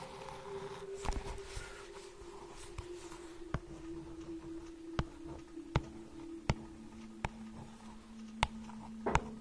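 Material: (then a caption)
Cardboard. A small hardcover children's book with a glossy cardboard cover is held in one hand while long nails tap and scratch across it. About eleven short, sharp clicks stand out over a faint scratching rustle and a quiet steady hum that drops to a lower pitch partway through. The taps are brief and dry, with almost no ring.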